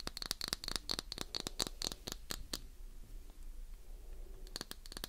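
A palm-sized, solid, translucent green glycerin soap bar is scratched along its edges and face with long nails. Quick, dry scratches come in a dense, bright run for about two and a half seconds, then fade to a quiet stretch before a final burst near the end.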